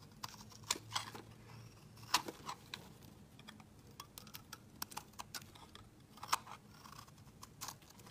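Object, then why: Bar of soap shaved with a metal blade. A metal utility-knife blade scrapes and shaves thick flakes off a hand-sized solid blue soap bar held in the fingers. The result is a quiet, steady run of short, crisp, bright scraping crackles and clicks that stop almost instantly, with a faint low hum underneath.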